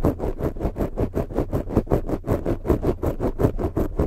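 Long pointed fake nails scratch and drag across a black foam microphone windscreen in a quick, steady rhythm of about twenty strokes. Each stroke gives a dull, rough, low-heavy rasp with a faint bright hiss on top, and stops quickly.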